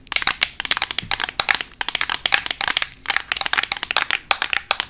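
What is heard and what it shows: A black rectangular Makeup Revolution plastic eyeshadow palette, a flat closed case held in both hands, is tapped quickly with paperclip-covered long nails. The result is a rapid, uneven patter of sharp, bright clicks that fall into short bursts with brief gaps between them. There is almost no low end, and each tap decays within a fraction of a second.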